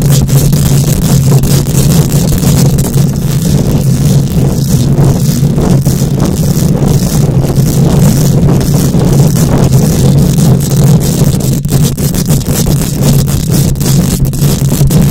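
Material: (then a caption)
Metal mesh. Long nails scratch and tap across the bare metal mesh grille of a microphone head without pause. The sound is a loud, dense, continuous scraping with a heavy low rumble and a steady low hum near 125 Hz, broken by rapid crackly taps and faint bright hiss.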